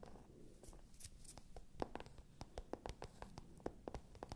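Long nails scratch and tap the glossy surface of a small, hollow, pale pink patent leather clutch. Quiet, soft scratching runs throughout, broken by sharp, short taps that carry a faint hollow mid-range tone and die away almost instantly.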